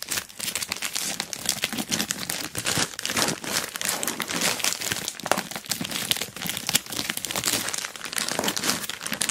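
Hands grip an orange plastic Temu mailer bag wrapped around a boxed dual-camera dash cam while a long nail taps and scratches its crinkly surface. The result is dense, bright crinkling and rustling with quick, sharp taps running steadily throughout, with almost no low end.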